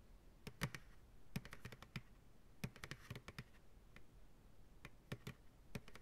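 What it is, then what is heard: Empty plastic ice cream pail, hollow. An empty white plastic ice cream pail, held upside down by its sides, is tapped quickly on its side walls with fingertips and nails. The taps come in uneven bursts of dry, clicky strikes with a hollow low thump and a bright tick on top. Each hit dies almost at once over a faint background hiss.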